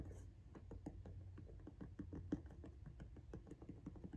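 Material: Rubber.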